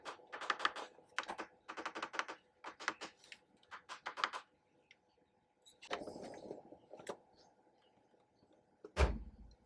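A matte black plastic PlayStation 3 Slim console with a hollow housing is held and turned in black-gloved hands while the gloved fingertips tap and rub its casing edges and ports. Quick clusters of light, hollow plastic taps fill the first few seconds, then come a brief scraping rub and a couple of isolated taps. It ends with a sharper, louder knock that carries a low thud.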